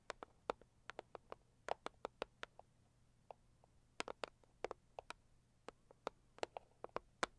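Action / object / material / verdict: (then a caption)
tap / cardboard box / cardboard / none. Long acrylic nails on both hands tap quickly on a hollow, medium-sized pink floral Saviland cardboard gift box. About 27 short, dry, crisp clicks come in an uneven rhythm, each with a hollow mid-pitched body and a bright tick on top. They stop instantly with no ring over a faint, steady low hum.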